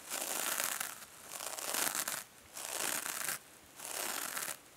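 Long nails scratch and fingers squeeze a small, hand-held silver metallic mesh sponge over foam. Four bursts of bright, crinkly scratching are each separated by a brief quiet gap. The sound is dry and grainy with almost no low end, and each burst stops cleanly.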